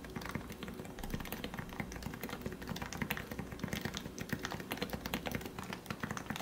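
Fingertips type rapidly on the plastic keycaps of a lubed Leopold FC660C Topre keyboard with 45g switches. They produce a dense, steady stream of soft, muted thocks with a low body and short, dry clicks that stop almost instantly.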